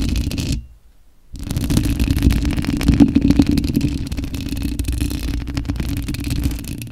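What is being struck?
Metal mesh microphone grille.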